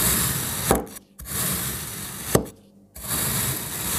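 A palm-sized, solid block of layered green, blue and pink kinetic sand is sliced with a black kitchen knife, giving a dense, gritty crunching rasp. Three sharp snaps end the cuts, and the first two are each followed by a brief near-silent pause before the crunching resumes.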